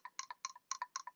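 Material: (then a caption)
Plastic. The fresh air inlet valve of a crankcase ventilation system, containing a valve and flap with a metered orifice, is shaken by hand. It gives a series of short, bright, dry clicks and rattles with almost no ring, coming in quick pairs and triplets. The rattle shows the valve moving freely inside, as it should.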